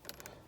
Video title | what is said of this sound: ВЕСТА КРОСС 2018.Надоел скрип! Разбираем панель приборов и проклеиваем! | даже чуть-чуть нажимать ну и если потрясти то есть даже слышно этот звук